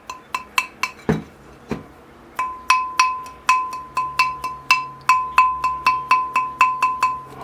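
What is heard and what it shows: A ceramic bonsai pot with chips and a possible slight crack is tapped about 23 times to test whether it rings, giving short, bright, resonant tones around 1 kHz, with two duller, lower thuds early on. The pot rings a little, unlike another pot that does not ring at all.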